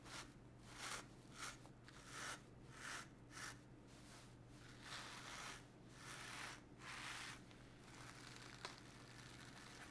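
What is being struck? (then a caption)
Woven brocade fabric garment. A blue and gold woven brocade fabric garment lies flat on a table, held down by one hand while a small stiff-bristled clothes brush is swept across it. The strokes sound like scratchy, bright bursts of brushing, rising and fading at an uneven pace over a faint steady low hum, with a brief sharp tick near the end.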